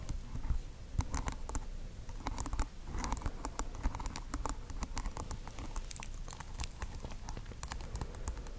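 Long acrylic nails tap and scratch across plastic pearl beads glued over green tape on a small microphone, which has a white fluffy wool tuft at one end. The result is a steady patter of quick, dry clicks with bright ticks over a deep, close, muffled rumble.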